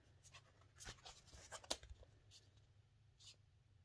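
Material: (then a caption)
Paper, cardboard. Long dark-painted nails tap and scratch the flat surface of a thin, hollow kraft paper "please do not bend" mailing envelope with a grey board insert, postage labels and washi tape, held up in both hands. The result is quiet, dry, papery clicks and bright scratchy rasps that stop almost instantly, over a faint low hum.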